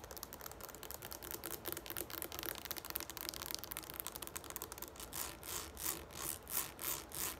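Long nails from both hands quickly tap the sides of a tall, green, hollow plastic shampoo bottle standing on a wooden table. The result is a dense, irregular run of bright, dry clicks with very little ring. After about five seconds it turns into slower, swelling scratchy strokes.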